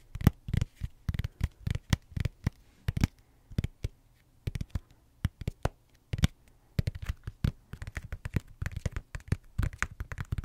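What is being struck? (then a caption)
Tablet in a silicone rubber case. Fingertips and short nails tap and scratch, close to the mic, on the back of an iPad-sized tablet in a thick blue silicone rubber case, a hollow flat shell. Many quick, dull, low thuds land in irregular clusters and die away almost instantly. Faint scratchy rustles fill the pauses between them.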